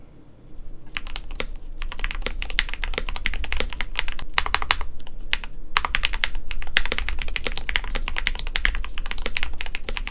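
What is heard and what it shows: Fingertips of both hands type continuously on a compact 65% KBD67lite mechanical keyboard with a white plastic case, polycarbonate plate, lubed Gateron Yellow linear switches and pink, white and blue PBT keycaps, resting on a desk mat. A steady stream of quick, crisp key taps with a bright clack over a soft, low thock runs throughout. A low background rumble sits underneath.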